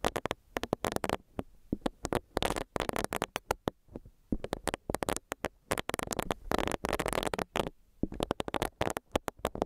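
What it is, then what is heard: Silicone face scrubber. Long nails tap on a small, solid, pink bunny-shaped silicone face scrubber, and its bristles are rubbed against the microphone. Quick, dry clicks and taps alternate with dense bursts of soft, brushy scratching, each sound stopping sharply with almost no ring. The sounds are mostly midrange, with brief quiet gaps between clusters.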